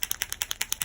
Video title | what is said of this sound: POSCA Paint Marker Review | as you can hear there is a marble to stir the ink in there